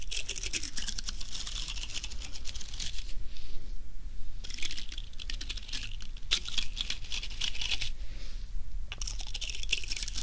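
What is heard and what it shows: A thin wooden stick is scraped and brushed through the stiff plastic bristles of a small artificial bottle-brush fir Christmas tree, dusted with fake snow and set on a small wooden base, close to the microphone. Bursts of bright, dense crackling scratches come in several stretches separated by brief quieter pauses, over a steady low hum.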